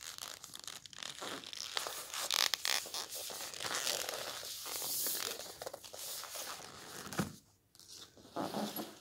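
Continuous bright, papery scratching fills the clip, mostly high-pitched with almost no low end and no ring. It sounds like fingertips scraping a glossy laminated book cover, with a short pause and a quick edge flick late on, in a small quiet room.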